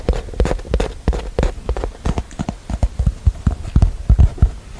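Long painted nails tap and scratch a small, hollow, rectangular cardboard box covered in Christmas collage-print paper, held closed in both hands close to a microphone. A quick, uneven series of dull, hollow, low thumps is heard, each dying away almost instantly, with faint scratchy brushing between the taps.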